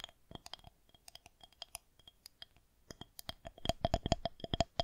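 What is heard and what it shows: Long fingernails on both hands tap and scratch the top of a solid white plastic rolling pin held horizontally. The result is irregular, quick clicky taps with a short hollow tone around 680 Hz and a bright edge, mixed with faint scratching. The tapping grows louder and denser toward the end.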